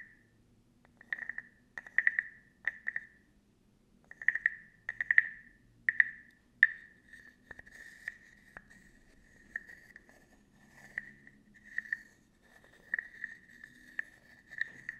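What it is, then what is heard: Wooden frog guiro. A small, hollow, carved wooden frog guiro close to the microphone is scraped and tapped with a wooden stick. Short, ratcheting croaks with a hollow, woody tone centred near 1.8 kHz come in quick bursts, separated by brief quiet gaps and faint low rustling.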